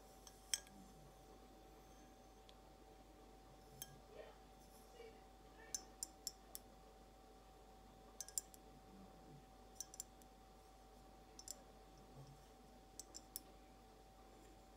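Long blue acrylic nail tips slowly tap a clear, hollow, empty glass carafe vase held sideways. About 17 bright, short clicks and clinks die away almost instantly, some in quick pairs or clusters, spread over quiet pauses. A faint steady hum runs underneath throughout.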